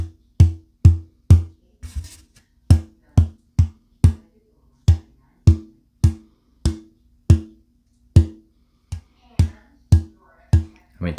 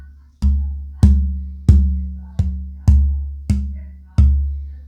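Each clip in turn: First: untreated old-growth Adirondack spruce top, stiffer tap tone. Second: torrified spruce guitar top, tap tone.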